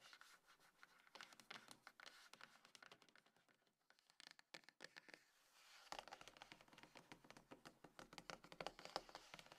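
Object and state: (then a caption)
Cardboard box scratched and tapped. Long nails scratch and tap on a small, hollow, closed dark grey cardboard iPhone box resting on a table. Quiet, dense, irregular dry scratches and quick bright taps run throughout, easing into a sparser, softer stretch around the middle. They then pick up again, fuller and busier, for the last few seconds.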